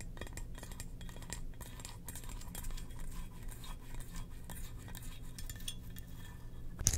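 A hollow, glossy black ceramic jar shaped like a Darth Vader helmet, standing on a rug, is tapped and scratched on top with long nails. Soft scratching runs throughout, broken by quick, dry clinks and a sharper tap near the end, over a steady low hum.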